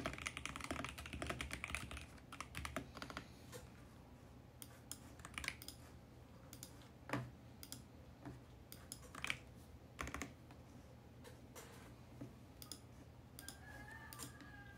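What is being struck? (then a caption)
Plastic mechanical keyboard. Fingertips type at a moderate pace on a compact VGN X68 mechanical keyboard with plastic keycaps and a mint case. Crisp, bright plastic clacks come quickly and densely at first, then in sparser bursts over a steady low hum. Each keystroke cuts off almost immediately, and a faint tonal whine enters near the end.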